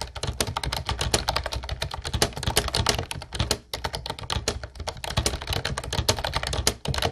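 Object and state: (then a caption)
Plastic typewriter-style keyboard. Fingertips type rapidly on a mint-blue plastic Ubotie retro typewriter-style keyboard with round white keycaps. A dense stream of short, bright clacks rides over a low thocking body, with brief pauses near the middle and the end.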